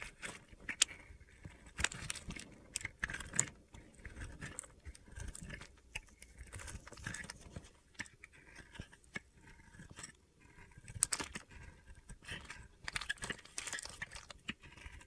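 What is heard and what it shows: A metal blade scrapes across the white face of a solid layered white, orange and yellow soap bar held in the hand, carving off chips. The result is a series of dry, crunchy, gritty scraping strokes with bright high-frequency texture and short pauses between them.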